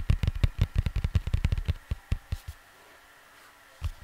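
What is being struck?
Cardboard vinyl record sleeve.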